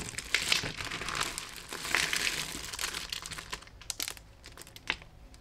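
Fingertips of both hands scrunch, rake and rub through a pile of thin, brittle, dry soap flakes in lilac, grey and cream. The result is dense, crisp, bright crunching and crinkling with little low end. The sound is busiest in the first three seconds, then thins into sparser, sharp crackles.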